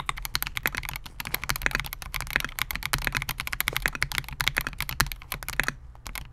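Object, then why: Mechanical keyboard with polycarbonate case and plastic keycaps. Fingertips of both hands type continuously on a Melgeek MOJO68, a compact 68-key mechanical keyboard with Gateron G Silver Pro switches, a clear polycarbonate case and SA-profile plastic keycaps, resting on a desk mat. A rapid, steady stream of short, bright clacking keystrokes dies away almost instantly after each press, over a faint low background hum. The typing pauses briefly near the end before a few final keystrokes.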